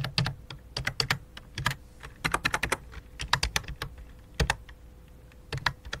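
Both hands with long dark nails type rapidly with their fingertips on a full-size white and light-blue plastic computer keyboard resting on black cloth. Quick, dry, clicky key taps come in uneven bursts and clusters, with short pauses between them. Each tap is bright and dies away almost instantly, over a faint steady low hum.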